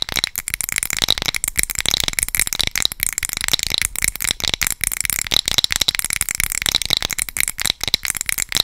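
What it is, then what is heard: Glass candle jar. Long pointed acrylic nails rapidly tap and scratch the glass side of a hand-sized glass candle jar filled with solid amber wax, held in one hand. The result is a dense, irregular stream of sharp, bright clicks and scratchy rasps that cut off almost instantly, with very little low end.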